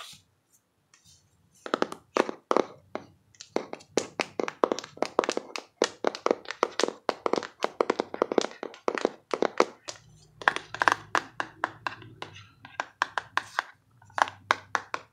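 Long nails and fingertips tap the side edge and back of a closed, hollow printed cardboard box held upright. A quick, uneven series of short, dry, hollow taps centred around 1 kHz follows, each dying almost instantly, with brief pauses between bursts.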